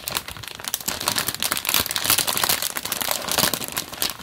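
A small sealed, printed plastic-film LEGO polybag for the 30452 Iron Man set, with loose bricks inside, is held in both hands while the fingertips grip, flex and rub the film. The result is a steady, dense, bright crinkling with sharp crackles and almost no low end, swelling and easing in loudness throughout.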